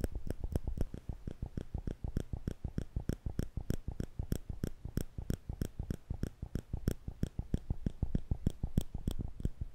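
Small, thin steel tweezers are held in the fingertips between two microphones without touching them, and the fingers squeeze the arms so the metal tips click together over and over. The result is a quick, slightly uneven stream of short, dry clicks, each with a soft low thump and a faint bright tick that dies away almost instantly.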